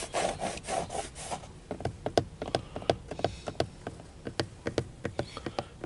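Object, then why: Plastic steering wheel cover. Short-nailed fingertips scratch across the grained surface of a textured dark plastic airbag cover at the center of a car steering wheel with a chrome badge, making a rough rasping sound for the first second or so. They then tap rapidly on the hollow, rigid shell, producing sharp, dry clicks that die out almost at once.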